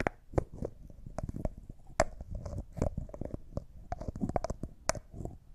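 Fingers and nails turn and rub the white plastic screw lid of a small, empty, clear thick-glass cosmetic jar. Quiet scratchy rubbing and grinding of the lid runs throughout, broken by sharp clicks and taps with a faint glassy ring around 640 Hz. Each tap dies away almost instantly.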